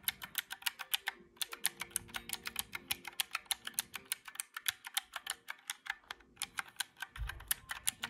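Fingertips rapidly tap the round black keys of a small mint-green plastic calculator, producing about 49 crisp, bright clicks that stop dead with no ring. The steady run of taps breaks only for brief pauses around 1.3 and 6.2 seconds, with a faint low thump near the 7-second mark.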